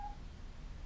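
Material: Nothing is struck.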